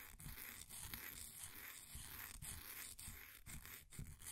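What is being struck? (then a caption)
Pressed powder bath bomb. A flat wooden popsicle stick scratches and scrapes the crumbly surface of a solid, green, ball-sized bath bomb of compressed powder sitting in a blue plastic ring holder. The result is a steady, dry, gritty rasp with a bright hiss over soft low rubbing, broken by short sharper scrapes as the stick drags across the powder.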